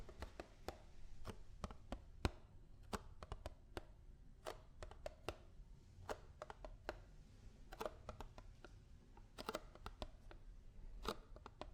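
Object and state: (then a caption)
Almond milk carton. A paperboard almond milk carton is tapped with fingers and nails in an irregular, fast and slow rhythm. Each tap is a short, dry click with almost no ring, over a quiet low hum.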